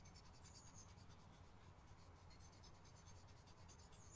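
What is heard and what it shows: A hand strokes and scratches a light-colored charcoal pencil or blending stump across white drawing paper clipped flat to a wooden easel outdoors, backed by a board, while shading a leaf sketch. Soft, steady scratching and rubbing strokes carry brief bright streaks over a constant low rumble, at a quiet, even level throughout.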